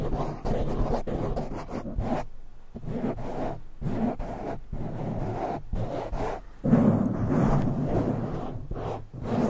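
Fingertips of both hands rapidly scratch and rub a soft, porous black foam windscreen on a silver microphone. The result is a dense, muffled rumbling scrape, heavy in the low end with little brightness, coming in continuous bursts broken by brief pauses.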